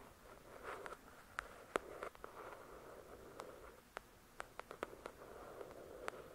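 Long acrylic nails tap and scratch the glossy card cover of a thick paperback novel. Soft, quiet scratching swishes come in midrange patches, broken by scattered sharp, bright clicks of the nail tips that stop instantly with no ring.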